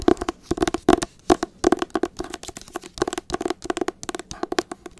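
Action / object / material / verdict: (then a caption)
tap / hardcover book cover / cardboard / none. Long acrylic nails tap and scratch the cover of a teal hardcover copy of "Me Talk Pretty One Day" held close to the mic. About 28 quick, dry, clicky taps land in uneven bursts, with a hollow mid-range knock and no ring. Softer scratchy rustles fill the gaps between them.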